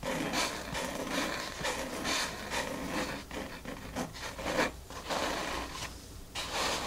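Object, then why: Foam mat. Long natural nails with white tips scratch and tap across a large, flat, dark grey foam mat covering a table, using both hands. The fine, porous solid surface gives a continuous dry, rasping scratch in rising and falling bright bursts. Short, soft taps come through the scratching.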